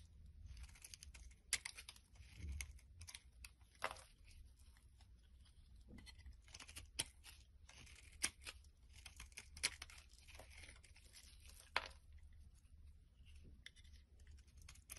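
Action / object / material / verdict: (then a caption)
scrape / bar of soap cut with a metal blade / soap / none. A small, solid, bright green soap bar held in the hand is shaved with a metal blade into thin strips. Soft, crisp scraping and crinkly tearing sounds repeat over a low, steady hum. Sharp, bright clicks stand out now and then as the blade bites into the bar.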